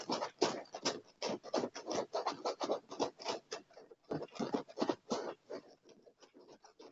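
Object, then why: Padded leather armrest. Short fingernails scratch and rub quickly across the dark padded leather armrest of a chair, making a fast, uneven run of dry scratching strokes. The scraping bursts pause briefly partway through, then resume and fade to lighter strokes.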